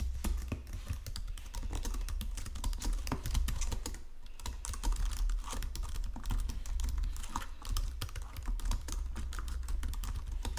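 Fingertips and nails type quickly on a white plastic Logitech keyboard resting on marble, producing a dense, steady stream of short, crisp key taps and presses. A constant low hum sits underneath the clicking throughout.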